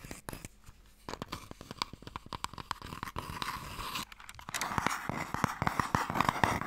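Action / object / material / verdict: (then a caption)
tap / long light wooden box / wood / none. Fingernails scratch and tap along the lid and sides of a long, light, hollow wooden Mikado box. Quick, irregular dry clicks and taps sit over a scratchy rasp with a hollow ring around 930 Hz. The scratching grows louder and brighter in the last couple of seconds.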